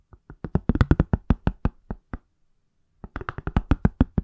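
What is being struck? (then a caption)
Smartphone in a silicone case. Fingertips and nails tap the back of an iPhone in a pale, palm-sized, solid silicone/plastic case. The taps are short, dull and low, with a quick patter that speeds up, a pause of about a second, then another fast run.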